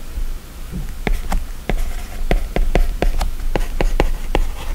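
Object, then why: Plastic stylus tip on a glass tablet screen. An Apple Pencil's plastic tip writes handwriting strokes on the glass screen of an iPad running a drawing app. About thirteen scratchy taps and short scratches land at an uneven pace over a low background hum.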